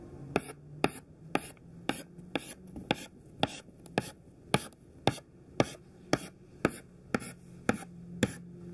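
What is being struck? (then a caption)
Chalk stick on chalkboard. A thin white classroom chalk stick makes 16 short tap-strokes on a black chalkboard at a steady pace of about two per second. Each stroke is a sharp, dry click with a bright top and almost no ring, over a faint low hum.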